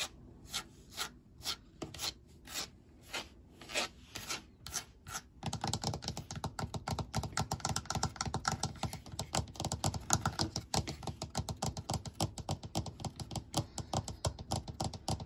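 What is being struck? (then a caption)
Molded plastic shower seat. Fingertips and nails tap and scratch on a white molded plastic shower seat with drainage holes, working over the seat and its front edge. About ten separate, dry taps with short, bright clicks come first. Then a dense, rapid run of tapping and scratching fills the rest with a hollow, low-toned plastic knock under a raspy texture.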